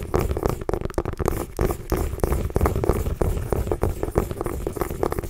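A small orange mini pumpkin, a hollow gourd held in both hands, is scratched and tapped with long nails. Quick, irregular dull taps with short, hollow low-end thumps are mixed with dry scratching over about five seconds.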